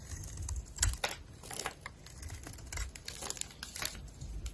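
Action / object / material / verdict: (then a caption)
scrape / bar of soap / soap / none. A box-cutter blade shaves curls off a solid oval bar of soap with a green speckled coating and a white core, held in the hand. Each stroke makes a dry, crisp scraping crackle, bright and crinkly, over a soft low rumble. The short strokes come in an irregular run, with a louder burst near the one-second mark.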